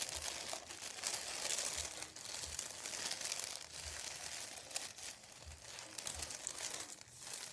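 Fingertips tap and scratch a thin white printed paper sheet, folded and lying on a wooden table. The result is a quiet, steady, bright crinkling and scratching hiss, with soft low taps scattered through it.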